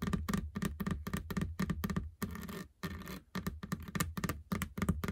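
Long fingernails tap and scratch the large, flat, textured black rubber running belt of a treadmill. Quick, dull, low thuds with almost no ring come in rapid bursts. They are broken by brief stretches of rough scratching.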